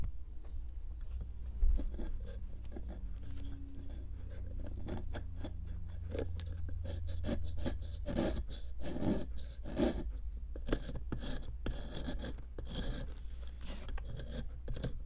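A small solid pink plaster excavation block sits in a clear plastic tray, held by one long-nailed hand while the other hand scrapes it with a small metal chisel. The result is a steady run of dry scraping and scratching strokes, some with a gritty crunch, over a constant low hum.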